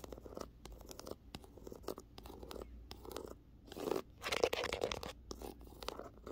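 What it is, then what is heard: Paperback book cover. A run of quick, crackly scratches and soft taps, bright and papery, each dying at once with no ring. It sounds like a nail dragging over a glossy, slightly embossed paperback cover lying flat, grainy and close-miked.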